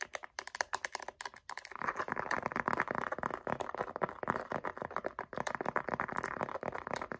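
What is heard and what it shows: Long nails tap quickly on the surface of a light-blue pebbled faux leather wallet with gold hardware. Sparse, dry clicks at first give way after about two seconds to a dense, rapid patter centred near 1 kHz, with bright ticks on top. Each tap dies away almost instantly.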